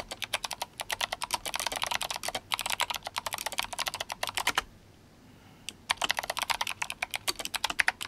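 Fingertips of both hands type continuously on a GMMK Compact, a compact RGB-backlit mechanical keyboard with clicky Kailh Box White switches and plastic SA keycaps. Rapid, bright, sharp clicks with very little low end come in dense runs, break off for about a second, then resume.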